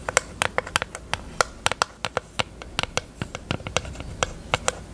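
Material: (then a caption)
Plastic. Long acrylic nails tap on a small, hollow pink plastic eyelash case held open. They make a quick, uneven run of about two dozen sharp, dry clicks with a light hollow tone near 520 Hz and bright edges. Each tap dies away almost instantly.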